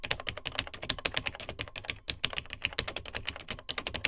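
Fingertips of both hands type on the dark plastic keys of a beige plastic vintage Tandy TRS-80 Model 100 portable computer. There is a rapid, continuous stream of short, bright clicky keystrokes with almost no ring, pausing briefly around the two-second mark.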